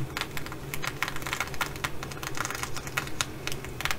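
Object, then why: Fabric bag covered in plastic flip sequins. Long glittery acrylic nails scratch and tap a flat, hollow, soft fabric bag covered in blue and bronze reversible plastic flip sequins. The result is a quick, irregular run of sharp, bright clicks and rasps with very short decay, much like typing on a keyboard, over a low steady hum.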